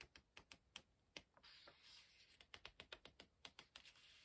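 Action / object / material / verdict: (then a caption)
flick / paper pages of a hardcover book / paper / none. Fingertips rub the edge of a thick paper page of a large open hardcover book and flick it while turning it. Seventeen quick, bright, dry ticks are heard, with a soft sustained papery rustle in the middle as the page turns over.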